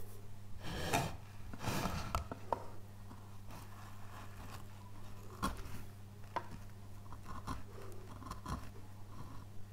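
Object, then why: Basswood relief carving panel. A gloved hand rubs across the surface of a thick, solid basswood relief carving panel with soft, dry brushing strokes, then a steel gouge cuts small chips from the light wood. Each cut gives a short, crisp snap or tick over a steady low hum.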